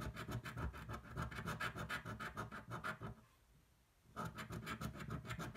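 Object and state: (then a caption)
Coin scratching a scratch-off ticket. The edge of a metal coin scratches the latex coating off a single thin paper scratch-off lottery ticket held flat on a table. Quick, rhythmic rasping strokes have a bright, gritty texture over a low rumble. The scratching pauses briefly near the middle, then resumes at the same pace.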